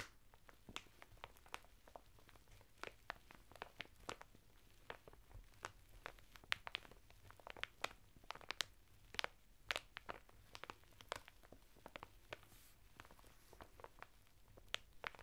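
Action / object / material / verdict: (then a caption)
scrape / woven fibre bath mitt in a thin plastic packet / plastic, fibre / none. A flat bath mitt of coarse woven natural fibre, sealed in a thin printed plastic packet and lying on a table, is scratched and pressed by fingertips and short nails through the crinkly plastic. The result is a quiet, steady run of sharp, dry crackles and scratchy crunches, each very short and bright, over a faint low hum.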